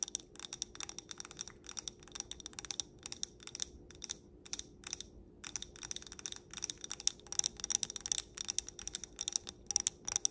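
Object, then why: Small stemmed glass filled with glitter. Long black nails tap and scratch around the rim and bowl of a small stemmed wine glass filled with pink glitter. A quick, irregular run of bright, sharp clicks and scratches, each dying away almost at once, continues for about ten seconds over a faint low hum.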